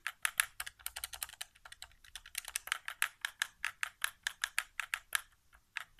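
Fingertips tap the buttons and thumbsticks of a white, hollow plastic PS4 controller resting on carpet. About thirty quick, dry plastic clicks come in an uneven, rapid patter, bright and crisp, each dying away almost instantly with no low thump.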